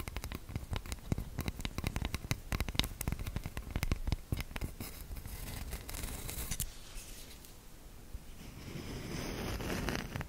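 A light-colored wooden cooking spoon with a solid, flat, round bowl is held in both hands while fingertips and long nails tap and scratch the back of the bowl. Many quick, dry clicks and taps come first, then give way after about six and a half seconds to a softer, continuous scratching that grows brighter and hissier toward the end.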